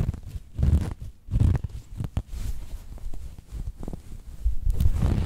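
Fingertips and long nails scratch the fabric of a cream cotton canvas throw pillow with a cat print and grip its corners close to the mic. The sound is low and muffled, with rumbling, scratchy swells and short sharp rasps, and almost all of its energy sits in the deep bass.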